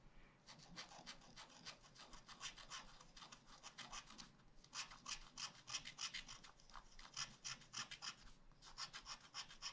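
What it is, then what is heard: Wax-coated scratch art paper being scratched. A wooden stylus scratches rapid strokes into the black wax-coated page of a spiral scratch art pad, carving an ice cream cone picture. The result is a steady run of quick, dry, bright scratching strokes with a slightly uneven rhythm, a brief lull partway through, and little low-end body.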